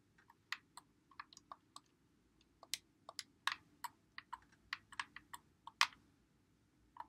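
Fingertips press and click the buttons and thumbsticks of a white Xbox One controller with a hollow plastic body, held in both hands. Short, dry, bright plastic clicks come at an irregular pace and die away almost instantly, over a faint low background hum.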